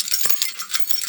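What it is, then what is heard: Set of metal keys (shaken). A set of metal keys, used to open the doors of homes and cars, is shaken by hand. It makes a bright, high jingling rattle of quick metallic clinks with almost no low end, and the clinks run together in a continuous jangle.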